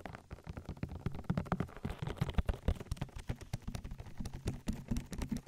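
Fingertips with long nails rapidly pat and rub a white, oil-coated silicone ear with a hollow canal on a 3Dio binaural microphone. The result is a dense run of soft, wet, muffled taps and squelches, deep and boomy with little brightness, each one dying away almost at once.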